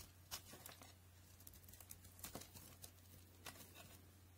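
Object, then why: Solid bar of soap cut with a blade. A utility knife shaves thin, brittle flakes from the top of a solid white soap bar held in hand, from a set of NC, Linom and FAX white soaps. Quiet, crisp scraping and crackling cuts come in short, sharp bursts with bright high edges over a steady low hum.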